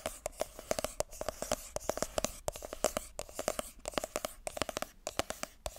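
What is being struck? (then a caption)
Small cardboard box tapped with fingernails. Long nails tap and scratch the top and sides of a small, hollow, white glossy cardboard iPhone box held in both hands. A rapid, irregular stream of sharp, dry clicks with a hollow midrange knock rides over a soft, bright scratching hiss, each tap dying away almost instantly.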